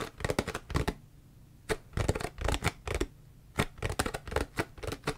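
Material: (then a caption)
Plastic. A large, clear, ridged PET plastic drink bottle that looks empty is tapped and scratched along its ridged body with long fingernails. Quick bursts of dull, hollow tapping mix with scratchy rasping, separated by short quiet pauses.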